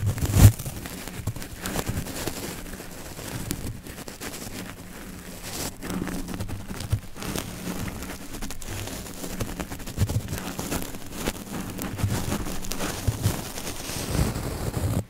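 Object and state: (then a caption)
Metal mesh microphone grille being brushed. A small flat brush with yellow synthetic bristles presses and brushes down onto the rounded, hollow woven metal mesh grille of a microphone. This produces a steady, close, low rumbling scratch with crackly texture and a louder thump near the start.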